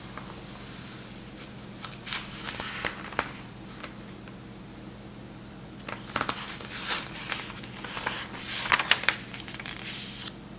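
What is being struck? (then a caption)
Thin printed paper magazine pages. A large 1960s German paper magazine lies open on a checked tablecloth while fingertips and a palm rub and smooth its thin printed pages and gently turn them. Soft, bright rustling and crinkling rise into sharper crackly bursts as pages are handled and flipped, over a faint steady low hum.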